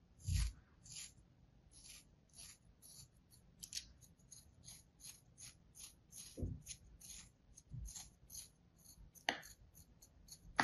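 A solid slab of kinetic sand resting on a palm is sliced and scraped with a thin metal blade. Repeated short, grainy scraping strokes carry a bright, hissy high edge, broken by a few soft low thumps and a sharper crunch near the end.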